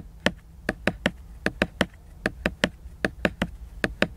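Fingernails work against the glossy laminated paper cover of a large picture book, producing 15 short, crisp taps at an irregular pace. Each tap is a dry, bright click with a quick decay over a soft background hiss.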